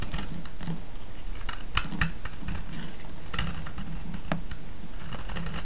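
A metal blade scrapes a solid orange soap bar held in the hand, making a steady run of crisp, dry scratching clicks with bright edges over a low, even rumble. The sound stays at a constant level throughout.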